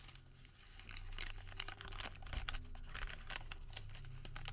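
Fingertips twist, pinch and crinkle a Home Depot thermal paper receipt that has been twisted into a rope. Quiet, dense crinkling comes in quick bright crackles and sharp ticks over a steady low hum, with no ring after each snap.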